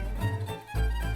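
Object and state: Nothing is struck.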